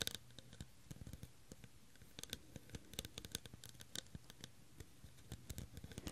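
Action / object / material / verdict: scrape / clear faceted plastic cup / plastic / none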